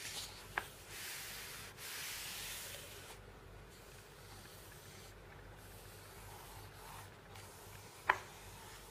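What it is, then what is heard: Paper magazine pages. Fingertips with red-painted nails trace over the printed pictures of watches and drones in an open catalogue magazine with non-glossy paper pages lying on a wooden table, and a page is turned partway through. A soft, airy rubbing and scratching hiss carries through the clip, louder near the start and then quieter. Two sharp, bright ticks stand out, one near the start and one near the end.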